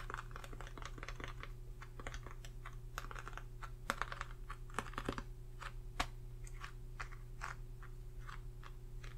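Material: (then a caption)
Cardboard. Long painted nails and fingertips tap and scratch the lid of a closed, flat, glossy white cardboard Morphe eyeshadow palette, book-sized and held over a face chart. A quick run of short, dry clicks and light scratches, irregular and steady in pace, sits over a constant low hum.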